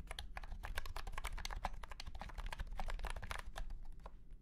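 A white and pink cat-shaped keyboard with round plastic keycaps in a hollow plastic case is typed on quickly with the fingertips of both hands. It makes a steady stream of short, sharp, clacky plastic clicks with a hollow ring over a low, constant hum. The keystrokes overlap into a continuous rattle with no pauses.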